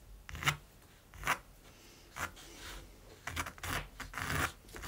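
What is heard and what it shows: A mechanical pencil scratches dense hatching strokes across the textured surface of a large, flat primed canvas. Short, bright, dry scratching bursts come at first with quiet gaps between them, then bunch together into longer rasping passes toward the end.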